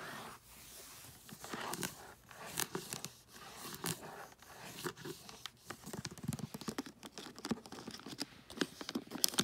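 Long nails scratch and tap across the surface and edges of a flat rectangular gift box wrapped in holographic tree-print foil paper. The result is a steady run of crisp, crinkly scrapes broken by quick, sharp clicking taps that grow busier toward the end.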